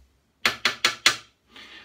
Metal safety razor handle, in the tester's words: it's a later ball end handle because it is solid